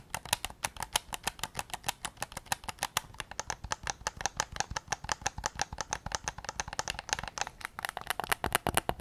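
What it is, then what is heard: Plastic game controller. A white hard-plastic PS5 DualSense game controller, a hollow handheld device, is held in both hands in front of a Zoom recorder while fingertips tap and click across its shell and buttons. A quick, steady run of dozens of short, dry, bright plastic ticks and clicks follows, each with a hollow body around 800 Hz and almost no ring.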